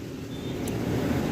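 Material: Nothing is struck.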